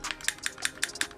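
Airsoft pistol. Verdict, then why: Slightly loose. An Ascend DP17 airsoft pistol, stock with no internal upgrades, is shaken by hand to check for rattle, producing eight light, crisp clicks at a steady rhythm. It shows only a little looseness and no heavy rattle.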